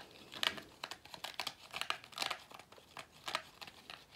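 A hollow cone-shaped vacuum cleaner filter of pleated paper with a black rubber base is rubbed and squeezed by fingertips along its pleats. The result is a series of dry, bright crinkling scratches that stop quickly, with almost no low end.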